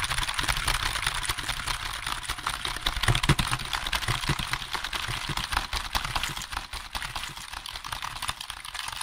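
Fingertips tap rapidly on the keys of a hollow black plastic computer keyboard held at angles close to the microphone. The result is a dense, continuous stream of short, dry plastic clicks with a bright, hissy top and a low hollow thump beneath, peaking around the three-second mark before easing slightly.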